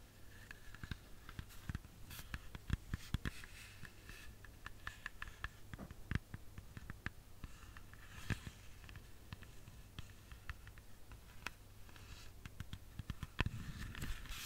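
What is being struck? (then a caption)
Whole red apple. A whole, solid red apple is tapped with long fingernails close to the microphone. Many quick, dry clicking taps come in an irregular patter, each ending almost at once, over a faint low hum and quiet background.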